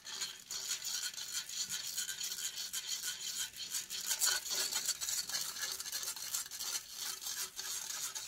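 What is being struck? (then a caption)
Metal mesh microphone grille. Long painted fingernails scratch aggressively across the hollow metal mesh grille of a silver condenser microphone held in one hand. The result is a dense, continuous stream of bright, crackly scraping with rapid, irregular strokes and almost no low end.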